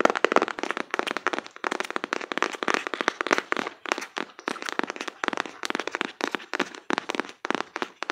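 A closed, printed cardboard card box held in both hands is tapped rapidly with fingertips and nails on its front face. The taps are dense, dry and crisp, centered in the midrange with no low end, and each dies away almost instantly. They come in quick, uneven bursts across the whole clip.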